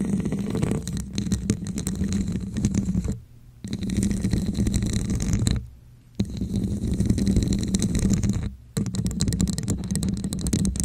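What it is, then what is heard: Textured plastic cup. Long nails scratch and tap around the sides of a hollow red translucent plastic cup with a wavy raised pattern, held upside down over a microphone. The sound is a dense, muffled, low-heavy rubbing and scratching with a hollow hum around 190 Hz. It breaks off in three short pauses before resuming.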